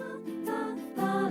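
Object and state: Nothing is struck.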